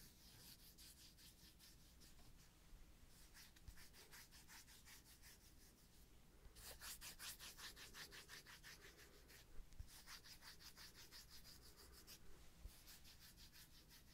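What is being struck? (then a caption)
Thick round cork disc. Fingertips rub and scratch along the edge and face of a thick, solid, palm-sized round cork disc held in the hand. The result is quiet, bright, papery scratching in quick, uneven strokes over a faint low hum, growing denser and louder about halfway through.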